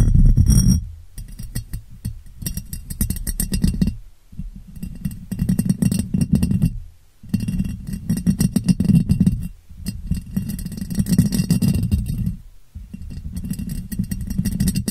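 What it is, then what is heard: Ribbed glass jar. Long painted nails tap and scratch the ribbed sides of a clear, hollow, empty glass jar turned upside down over a microphone. The result is dense, rapid clicking and rasping in bursts of a few seconds, separated by brief pauses. The sound is dominated by a boomy, hollow low resonance with a faint bright edge, and each tap dies away quickly.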